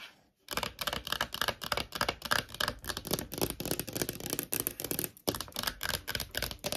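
Long nails tap and rub on the surface of a small, thin, hollow clear plastic phone case with a holographic heart print. After a half-second of near silence comes a rapid, uneven stream of crisp, bright plastic clicks with very little ring, briefly breaking off just past the five-second mark before the tapping resumes.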